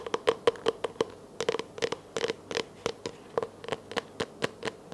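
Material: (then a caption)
Plastic. A small, hollow, empty clear plastic container, held close, is tapped and scratched with long nails in a quick, uneven series of about 21 sharp clicks. Each tap is short and dry with a hollow resonance near 470 Hz, and faint scratching fills the gaps between the taps.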